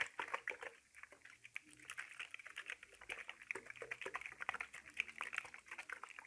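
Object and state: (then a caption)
Plastic spray bottle partly filled with liquid. A clear plastic spray bottle with a black trigger head, hollow and partly filled with liquid, is gripped by the fingertips and shaken back and forth. Quick, dense bursts of sloshing liquid and light plastic rattles repeat throughout, bright and centered around 2.3 kHz with almost no low end. Each burst cuts off almost instantly.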